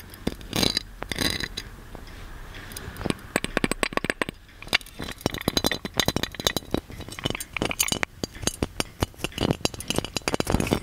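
A gold metal magic lamp, shaped like a genie lamp, is held in both hands and tapped with fingernails on its body and lid. The result is a long run of quick, bright metallic clinks with very short ring, mixed with softer scraping between the taps.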